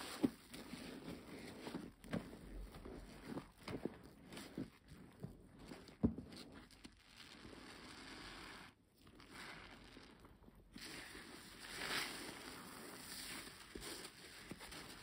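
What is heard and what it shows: A large, soft, porous black foam sponge, soaked and covered in soap foam, is squeezed, kneaded and stretched by both bare hands over a basin of foamy water. Wet squelching and rubbing come through in irregular bursts with a few sharper squishes. Fizzing foam fills the quieter stretches.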